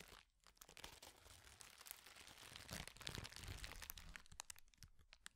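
A hand-sized sheet of thin, flexible, clear plastic bubble wrap is held in front of a microphone and crumpled and crinkled with the fingers. A dense, continuous stream of bright crackling and crunching follows, with many sharp snaps and brief tearing-like rustles that swell in the middle and thin out toward the end.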